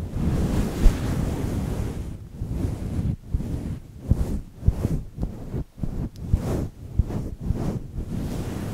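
Fingertips of one hand scratch the side of a fluffy grey faux-fur windscreen on a microphone. The result is a deep, rumbling scrubbing sound made almost entirely of low frequencies, like wind buffeting a mic. After about two seconds it breaks into a series of separate rustling strokes with brief pauses between them.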